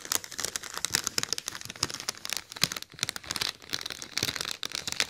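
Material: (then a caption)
Mylar foil. Fingers and nails rub and crinkle the surface of a large, hollow, inflated silver mylar foil letter balloon shaped like an "O," held close to the mic. The result is a dense, bright crinkling and crackling rustle made of many quick, dry snaps with almost no low end and no lingering ring.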